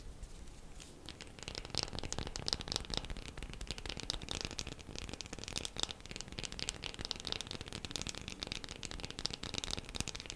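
A bar of soap is tapped quickly with the fingernails, making a dense stream of short, bright, crackly clicks. The tapping starts softer, then holds at a steady, fast pace for the rest of the clip.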